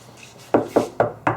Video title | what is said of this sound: How to Install Sound Assassin: Full Floor Package - Hothead Headliners | sounds completely different when you knock on it it used to sound really Hollow